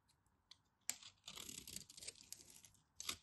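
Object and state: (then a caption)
Bar soap scraped with a knife. A craft knife scrapes a solid orange bar soap and digs out crumbly chunks. It makes quiet, bright, crisp scraping and crunching with no low end: a sharp scratch first, then a steady run of gritty crackles, and a final crunchy burst.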